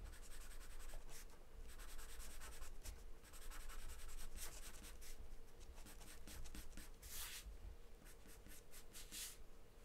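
A graphite or charcoal pencil held in the hand scribbles and scratches across a large white paper sheet taped flat to a dark surface, shading in quick strokes. The steady dry rasp comes in bright, broadband bursts over a constant low rumble, with no pauses throughout.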